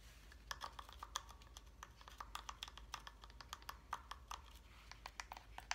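Fingernails rapidly tap the wooden surface of a solid wooden reindeer block calendar with a wire antler, held up close. The result is a quick, uneven stream of light, bright clicks with very short decay, sounding much like typing on a computer keyboard over a faint low hum.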